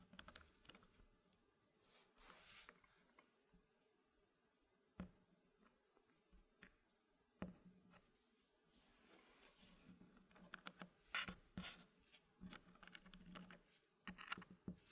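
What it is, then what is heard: Wooden puzzle pieces in a wooden tray. Fingertips tap, press and nudge solid dark-wood puzzle blocks fitted in a green-painted wooden tray, making repeated light, dry wooden clicks with almost no ring. The clicks come sparsely at first with a quiet stretch, then grow denser and slightly louder toward the end.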